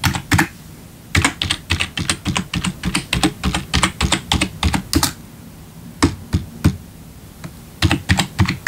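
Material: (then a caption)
Plastic. A single hand taps individual keys with a fingertip on a black plastic RGB backlit computer keyboard. The short, dry key clicks have a low thud and a bright top, and come in quick irregular runs broken by brief pauses, with a sparser stretch of single taps near the end before another quick run.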